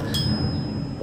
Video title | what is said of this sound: B18c TypeR Crankshaft Inspection: journal run-out, end play | if it's a long ring or ding then the forged crank is not cracked